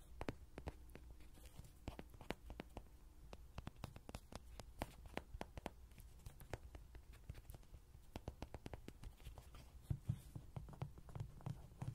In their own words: 0:00 ~ 05:26 로디장난감 두드리는 소리 Lody toy tapping sound